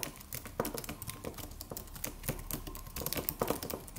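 Fingertips of both hands tap the white plastic keys of a slim silver aluminum computer keyboard with a solid, low-profile body in a steady typing motion. The result is a quick, uneven run of soft, short clicks with bright edges and a low thud beneath each press.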